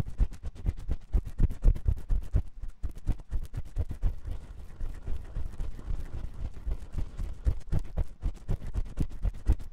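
A metal spiral ear pick scratches inside the ear canal of the white silicone ear on a 3Dio microphone. Rapid, uneven rubbing strokes come about four per second as dull, boomy thumps, with almost all the energy deep in the low end and very little brightness. Each stroke dies away almost instantly, leaving a dry, close-up, continuous scratching texture.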